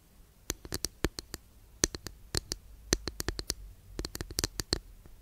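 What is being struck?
Flat wooden incense holder.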